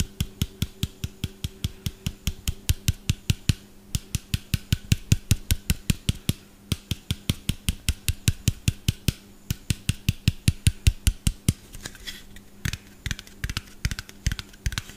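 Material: Plastic.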